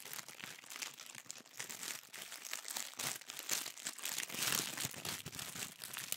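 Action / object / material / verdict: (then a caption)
scrape / thin tissue paper sheet / paper / none. A thin sheet of pink tissue paper is rolled and squeezed in both hands, crinkling. The result is a dense, continuous stream of soft, bright crackles with almost no low end, swelling slightly louder toward the end.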